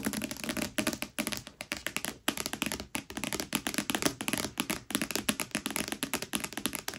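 Long nails on both hands tap rapidly across the front cover of a thick red paperback, A Court of Thorns and Roses, lying flat and solid. The result is a fast, continuous stream of dry, bright clicking taps with a light papery body, each one stopping almost instantly with no ring.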